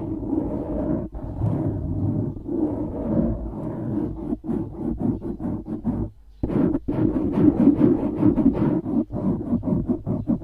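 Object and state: Foam microphone windscreen being scratched.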